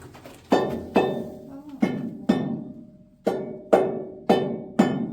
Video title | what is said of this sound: Central Deborah Gold Mine in Bendigo Australia | There's that echoey hollow sound, and that's why there's a rock bolt there